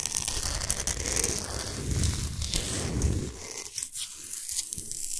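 Long pointed nails scratch fast across the smooth top of a large, flat, square slab of solid pink-white Himalayan salt lying flat. The result is dense, gritty, continuous scratching with a low rumble under a bright, hissy rasp. After about three seconds the low rumble drops away, leaving lighter, sharper scrapes.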